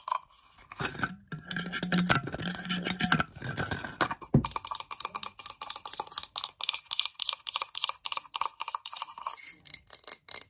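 A clear, cylindrical, hollow VOSS glass bottle with a metal cap, apparently empty or nearly so, is held in the hands and tapped quickly with long yellow nails. The result is a fast, dense stream of bright, clicky taps with some scratchy strokes and a faint hollow ring, plus a single low thump partway through.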